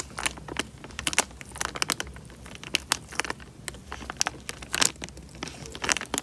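Fingertips crumple and squeeze a small, clear, thin plastic bag full of water. A rapid string of sharp, bright crinkling crackles and snaps comes in uneven bursts over a faint low hum, each crackle cutting off almost at once.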